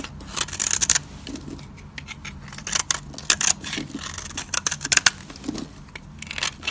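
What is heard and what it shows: A solid, dry green soap bar held in the hand is carved and scraped with a metal utility-knife blade, peeling flakes off it. The clip is a run of crisp, bright scraping and crackling bursts in quick, uneven clusters, each dying away almost instantly, with a faint low hum underneath.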